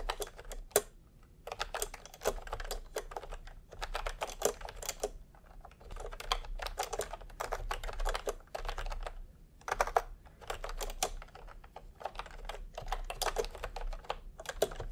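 Fingertips type on a full-size retro keyboard with a peach plastic case and round typewriter-style plastic keycaps. Steady bursts of short, dry clicks and clacks come in runs separated by brief pauses, with a low hum beneath.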